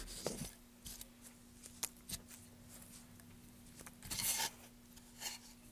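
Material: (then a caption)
Softwood. A wooden-handled gouge in a gloved hand carves and scrapes a solid, pale softwood block, making a series of short, bright, crisp cutting strokes. A longer, louder scraping pass comes near the end. A faint, steady low hum runs underneath throughout.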